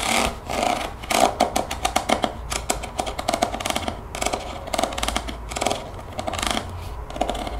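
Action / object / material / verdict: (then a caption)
tap / plastic spray bottle / plastic / none. A translucent plastic spray bottle with a white trigger head, partly filled with greenish liquid, is held in the hands and tapped and scratched along its body with long painted fingernails. Quick, crisp clicks with a hollow plastic tone near 715 Hz come in rapid bursts, mixed with brighter scratching between them, and each tap stops almost at once.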